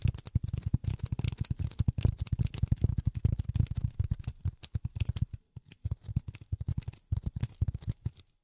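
Polyethylene foam is tapped with silicone rubber finger pads in a rapid, uneven stream of soft, dull thuds. The taps are deep and muffled with no ring, and they thin out into sparser bursts with brief pauses in the second half.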